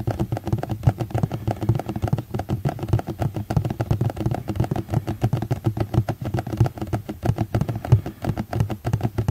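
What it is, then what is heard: Plastic container. A plastic container is tapped continuously in a rapid, uneven stream of short, dull, low-pitched knocks. Each tap dies away almost at once, with no ringing, and the sound stays muffled and bassy throughout.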